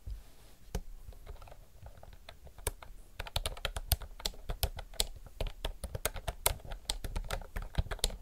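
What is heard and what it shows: Both hands type fast with the fingertips on a retro mechanical typewriter-style keyboard with round plastic keycaps. The clip is a rapid stream of sharp, short clicks with bright tops, over a low thump from each keystroke.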